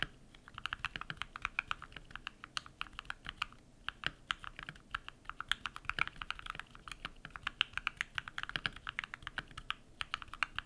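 Bare fingertips type rapidly on a compact modded mechanical keyboard with white PBT plastic keycaps and lubed switches. Dozens of short, crisp, bright clacks follow in quick, uneven succession, with little low end and no ring after each press.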